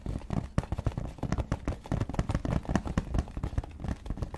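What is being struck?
Leather wallet.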